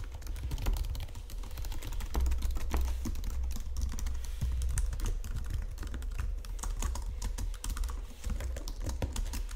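Both hands type steadily on a white plastic Logitech keyboard resting on marble, tapping and pressing the keys with fingertips and nails. The result is a fast, continuous stream of short clicky key strikes over a low, thumpy undertone, with each tap dying away quickly.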